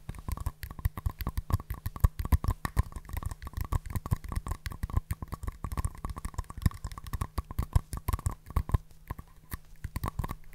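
Two small, empty, hollow green-and-white paper cups, held in both hands close to the mic, are tapped with nails and fingertips and knocked together. The result is a dense, continuous stream of quick, dry, hollow taps and clicks, mostly dull and low in tone, each dying away almost instantly. A faint steady hum sits underneath.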